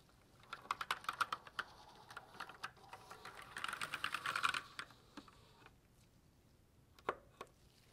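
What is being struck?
Plastic mechanical keyboard.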